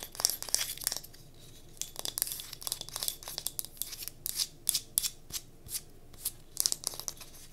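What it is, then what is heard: Wooden block candle holder. A small solid pine cube used as a wooden block candle holder, held in the hands while long nails tap and scratch its faces. Quick, bright, crisp clicks and scratchy bursts come in irregular clusters with short pauses between them. There is no ring after each touch.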